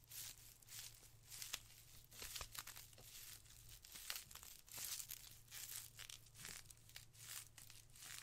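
A white ribbed polyethylene foam packaging sheet is bunched and squeezed in the hands, then laid flat and rubbed. This gives quiet, bright, irregular bursts of crinkling and crackling, with a low steady hum underneath.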